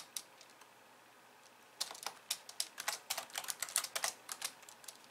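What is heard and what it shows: Long nails tap the white keys of a pink plastic computer keyboard as two hands type on it. A few sparse, light clicks come first, then a quicker, uneven run of sharp, bright, dry key taps starts near the two-second mark and continues to the end.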